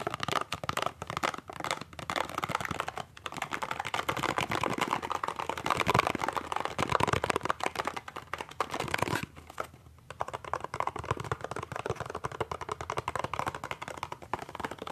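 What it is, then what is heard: Cardboard toothpaste box. A small, hollow cardboard toothpaste box is held in both hands and rapidly tapped with the fingertips and nails in a typing-like pattern. The result is a dense stream of short, dry, crisp clicks and light crinkles, mostly midrange with a brief pause near the ten-second mark.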